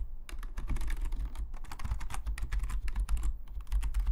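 Fingertips of both hands type rapidly on the plastic keycaps of a full-size black Logitech membrane keyboard lying flat on a desk. The result is a dense, steady stream of soft, short clicks and muted low thumps, with bright tapping edges on each keystroke.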